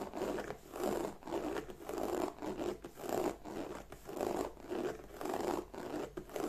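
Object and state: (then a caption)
Leather bag scratched with nails. Long nails scratch back and forth across the lower front panel of a hollow black glossy croc-embossed leather bag. The result is a steady series of rasping strokes with a dry, midrange texture and a faint hollow body, each stroke swelling and fading in a loose rhythm.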